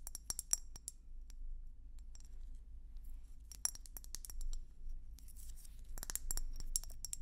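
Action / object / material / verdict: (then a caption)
tap / glass hummingbird feeder / glass / none. A hollow, bulbous red-and-white swirled glass hummingbird feeder is tapped with long nails. The result is a run of quick, bright glassy clicks and clinks that die away almost at once, over a steady low hum. The taps bunch into faster flurries near the start, around the middle and toward the end.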